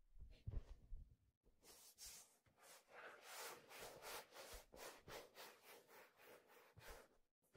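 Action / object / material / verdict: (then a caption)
scrape / leather fedora hat / leather / none. A hollow black leather fedora hat is handled close to the mic, with low thumps of handling in the first second. Palms and fingers then rub along the leather crown and brim in a steady series of soft, breathy, bright strokes.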